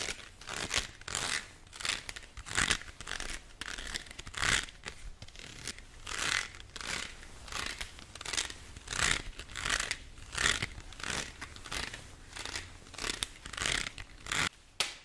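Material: Plastic.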